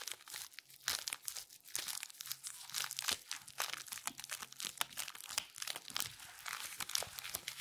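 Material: Latex rubber.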